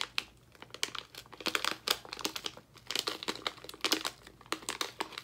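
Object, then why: Plastic foil candy bag. A full blue plastic foil bag of sour gummies is crumpled and crinkled between both hands and fingertips. The result is a dense run of sharp, bright crackles and crinkles with almost no low end, each one dying away quickly.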